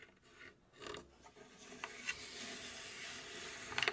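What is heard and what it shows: Long pink acrylic nails scratch and tap the front and top surfaces of a hollow, cube-shaped, laser-cut plywood puzzle safe box. Soft, bright rasping fills the clip, punctuated by five short, sharp taps: two near the middle and a quick cluster of three at the end.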